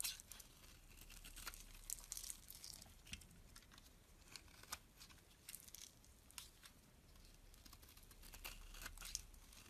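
A metal box-cutter blade scrapes the scored surface off a solid, elongated green bar of soap held in the palm. It makes quiet, dry, crackling scrapes with a bright, papery, tearing texture, arriving as a steady stream of short strokes with slightly louder bursts.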